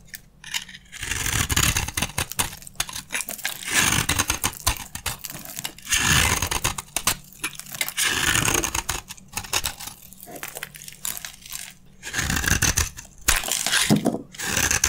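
A metal utility blade cuts and scrapes chunks off a partly carved, solid, dry red soap bar held in the hand. Repeated crisp, bright scraping and crunching strokes come in bursts with short pauses, over a faint steady low hum.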